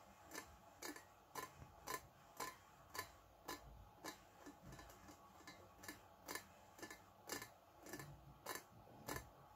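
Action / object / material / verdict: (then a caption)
tap / stainless steel teapot / stainless steel / none. Fingertips and nails tap the body of a small, shiny, hollow stainless steel teapot with a lid and handle, held close. The result is a steady series of quick, bright metallic taps, each with a short high ring, spaced about half a second apart over a quiet background.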